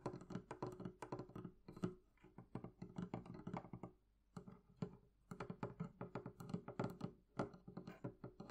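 Long nails and fingertips tap rapidly on the wooden top and sides of a hollow, closed wooden barrel-shaped chest. The taps are quick, dry clicks over low, hollow thunks that die away almost instantly. The tapping runs steadily with a brief pause near the middle before picking back up.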